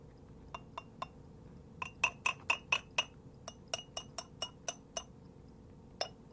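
The lid of a wood-fired ceramic pot (gwan) made in Japan is opened and tapped 17 times in an uneven rhythm. Each tap is a bright, short clink ringing around 2.6 kHz over a faint steady hum. The tap sound is rated a five.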